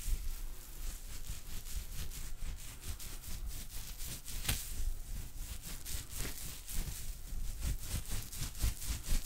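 A loose wad of wet, white cotton gauze, a soft, thin woven cloth, is held in both hands close to a microphone while the fingers squeeze, crumple and rub it. This produces a steady stream of soft, wet squishing and crackly rustling with a low, muffled rumble beneath bright, fizzy crackles.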